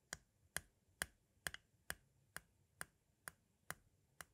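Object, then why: Plastic audio cassette shell. A metal-tipped tool taps and scratches at the edge of the tape window on a white plastic audio cassette shell. Eleven sharp, dry clicks sound at a steady pace of about two per second, each bright with a tone near 1.6 kHz and dying away almost instantly, with two landing close together near the middle.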